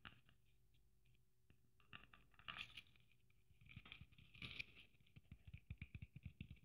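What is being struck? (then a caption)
Sequin-covered Christmas ornament tapped and scratched with long nails. Long nails patter and scratch across a red sequin Christmas ornament with gold braid. The sound is quiet: soft, dry ticks and rustles with a bright, glittery edge, broken by two louder scratching swipes. It ends in a run of quick, distinct taps with dull, low thuds beneath.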